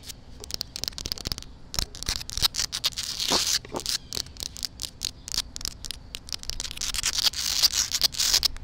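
Long black acrylic nails and fingertips scratch and tap the rough surface of a flat, solid outdoor concrete pavement with a crack, right next to the microphone. Quick, irregular bright scrapes and dry clicks pile up, mostly high-pitched, with almost no low end and no ringing after each touch.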